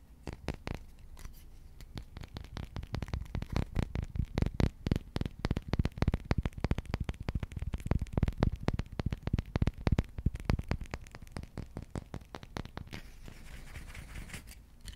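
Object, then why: Wooden spoon. Fingertips and nails scratch and tap the bowl and handle of a long, solid, polished wooden spoon held horizontally close up. Dense, rapid, dry taps with a deep, low thump and almost no ring blend with soft scratching. The taps grow louder through the middle before easing into a quieter scratchy stretch near the end.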